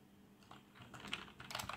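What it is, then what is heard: Plastic membrane keyboard. Both hands type with their fingertips on a black plastic membrane keyboard with RGB backlight. About five soft, muffled key taps are heard, each with a bright, dull clack that dies away almost at once. The taps are quiet and irregular and cluster more tightly toward the end over a faint low hum.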